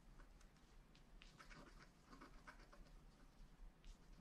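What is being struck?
Wax-coated scratch art card scraped with a wooden stylus.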